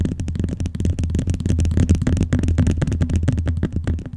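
Fingernails tap rapidly on the lower cover of a closed blue glossy vinyl binder. The result is a quick, steady stream of dull, low thuds with a soft, hollow body, each fading almost at once, with faint clicky edges over the top.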